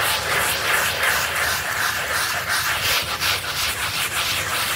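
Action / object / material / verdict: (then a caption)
scrape / wet synthetic pile rug scrubbed with a bristle brush / synthetic fibre / none. A pink brush with green bristles scrubs a foamy, wet, blue synthetic pile rug in steady back-and-forth strokes. It makes a continuous bright, hissy scrubbing sound with rhythmic swells, close to three strokes per second.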